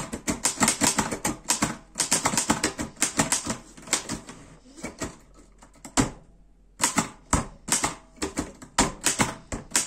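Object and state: Metal portable typewriter being typed on.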